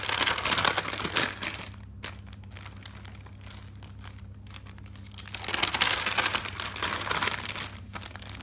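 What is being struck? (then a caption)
Thick paper notebook. Fingers with long dark nails grab and flip several white pages of a thick paper notebook, making bright, crisp rustling and crinkling. Two bursts of page-turning open and close the clip, with a quieter stretch of soft paper handling between them over a faint steady low hum.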